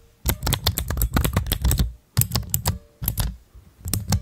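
Both hands press, click and tap a pastel plastic keycap cluster shaped like a dome on clear mechanical switches, using fingertips and long nails. Rapid bursts of dry clicks carry a heavy low thock under bright, crisp tops, and each hit dies away quickly. Brief pauses split the tapping into separate flurries.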